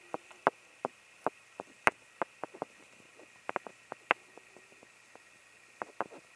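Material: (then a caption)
Wood. A pair of solid, pale, unfinished, hand-sized wooden blocks is scratched and tapped with fingertips and nails, giving fourteen short, dry clicks at an irregular pace. Each tap is quiet and sharp with almost no ring, over a faint steady background hum.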